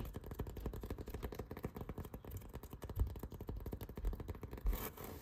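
Fingertips and nails scratch and rub along the ribbed surface of a rolled, hollow blue foam yoga mat with a black strap. The result is a dense run of quick, soft, muffled scraping strokes, mostly low in tone with little brightness. A slightly louder, brighter brush comes near the end.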